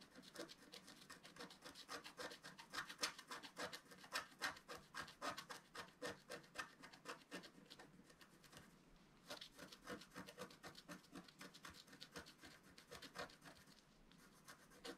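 A wooden stylus scratches along a branch drawn on a flat, black-coated sheet of scratch-art paper. It makes a quick run of dry, bright rasping strokes with a brief pause near the nine-second mark before the scratching resumes.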